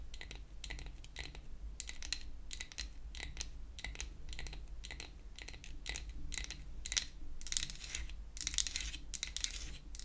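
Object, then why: Painted wooden toy hair dryer. A pink-painted wooden toy hair dryer, a solid flat piece of wood held upright, is tapped with long acrylic nail tips. Quick, dry, bright clicks come in rapid bursts with very short ring, peaking around 3.6 kHz, over a steady low hum. The tapping grows denser and louder toward the end.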